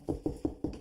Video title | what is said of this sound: Ask This Old House S10E08 | Sounds hollow right here, so there's probably not a joist.